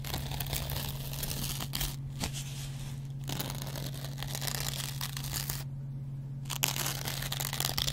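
A metal double-edge razor blade scratches the green scouring-pad side of a hand-sized, dry yellow cellulose kitchen sponge, making a dense, bright, crinkly scraping texture. Two brief near-silent pauses break the scraping, and a steady low hum runs underneath throughout.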